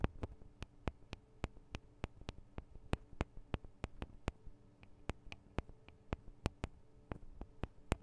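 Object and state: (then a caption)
Metal microphone capsules tapped with fingernails. Long acrylic nails tap on the two small cylindrical metal microphone capsules of a Tascam DR-40 recorder. Quick, sharp clicks come in a steady but uneven rhythm over a low, quiet hum. Each tap is bright and dies away almost at once.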